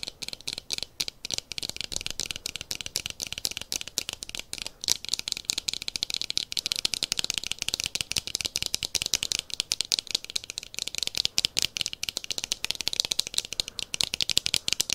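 Fingernails and fingertips tap and scratch the frame and lenses of dark plastic-framed sunglasses held up close in both hands. The result is a fast, steady stream of crisp, bright clicks and scratchy ticks with almost no low end. Each sharp tap dies away instantly.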